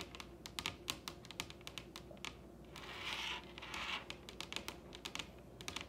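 Long red nails on both hands tap quickly across a large solid wooden table top, making a string of sharp, bright clicks that die away almost at once. Around the middle the taps give way to a short, soft scratchy hiss before the rapid tapping resumes.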